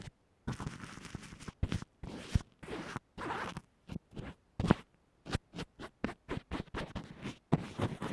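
A small, dense black makeup brush held in fingers with red nails brushes and scratches across a small white plastic earphone microphone that is wrapped in a textured fabric band-aid and lying on a yellow table. The result is a series of soft and rough zipper-like scratching bursts with a low, muffled body. Short strokes alternate with longer, smeared ones, separated by brief silences.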